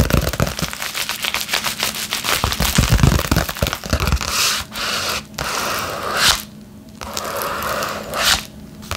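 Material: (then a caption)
Paper, plastic. A flat yellow padded bubble mailer is held in both hands while long nails scratch and tap across its front. Rapid crinkly scratches and dry taps come in a dense run for the first few seconds, then settle into softer, steadier scraping bursts with brief pauses.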